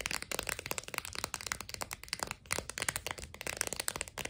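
Long nails tap quickly on a clear plastic blister holding four sticks of sidewalk chalk on a cardboard card. The result is a rapid, steady run of crisp, dry, bright clicks with almost no ring, mostly high with very little low end.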